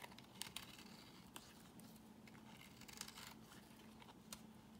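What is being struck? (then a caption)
Bar of soap shaved with a blade. A box cutter blade shaves curls off a solid white bar of soap held in the hand. The sound is a quiet, dry, papery scraping with crisp, bright crackles and a few sharper snaps standing out. A faint low hum runs steadily underneath.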